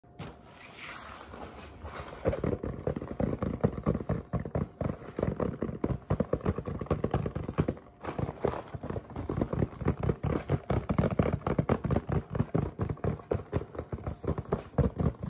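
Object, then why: Cardboard candy box. A large red printed cardboard box of Nestlé Halloween candy, hollow and apparently full and closed, is held upright and tapped with fingertips and nails. After a quieter first two seconds, a fast, steady stream of short, dry, low hollow taps continues, each dying away almost at once.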